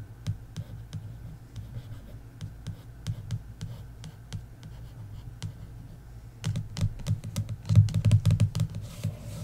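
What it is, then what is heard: Paperback book. Long nails tap and scratch across the lower half of an embossed paperback book's cover. A steady run of soft, low taps with sharp clicky edges gives way to denser, louder tapping and scratching over the last few seconds.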